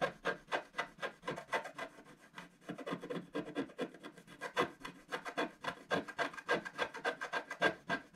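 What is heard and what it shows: A wooden stylus tip scratches the lower vase area of a solid, black wax-coated scratch art card in a book lying flat on a table. It makes a rapid, somewhat uneven series of short, dry, rasping strokes with a bright, papery texture and almost no low end. Each stroke stops dead with no ring.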